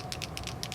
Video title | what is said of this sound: Wink of Stella Brushアイデア 全編 | begin to shake it and you'll hear that there's a little shaker ball inside of it